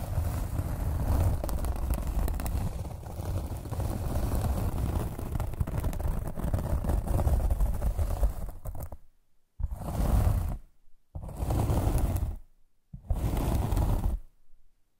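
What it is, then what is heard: Foam packing insert. Long nails scratch and tap a black foam packing insert inside a box, producing a dense, low, muffled rustling scrape for about nine seconds. After a brief silence, three separate bursts of scratching follow, each ending in quiet.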